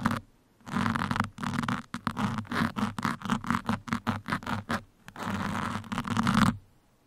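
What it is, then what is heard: Foam microphone windscreen scratched. Two metal pins scratch the sides of a black foam microphone windscreen in a steady motion, producing dry, rustling scrapes over a low steady hum. Long continuous scrapes at the start and end frame a middle run of short, rapid strokes.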